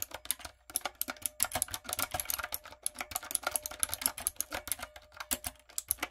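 Fingertips with long coffin nails type rapidly on a typewriter-style backlit mechanical keyboard with round brown plastic keycaps on a dark frame. The result is a dense, steady stream of sharp, bright plastic clicks and clacks with no lingering ring.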